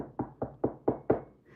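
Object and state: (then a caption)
Desk knocked. A desk is knocked five times at an even pace, each knock a short, dull thud with a mid-range body and almost no ring. The knocks sound solid. A faint tonal hum rises after the last knock.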